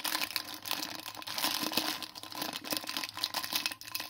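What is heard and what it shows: A small sealed blue printed plastic-foil biscuit wrapper, full of biscuits, is held in both hands and squeezed and crinkled with the fingertips and thumbs. It produces a dense, continuous, bright crackling rustle with quick crisp snaps that rise and fall in loudness, over a faint steady low-mid tone.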